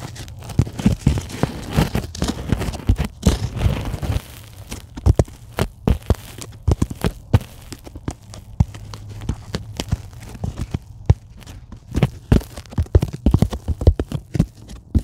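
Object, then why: Polyethylene packing foam sheet. Long acrylic nails tap and scratch across the surface of a flat, soft, solid white polyethylene packing foam sheet lying on a table. Dense, irregular clicks and dull taps are heard, with brief scratchy rustles over a steady low hum. The sound is mostly low and muffled, and each tap dies away almost instantly.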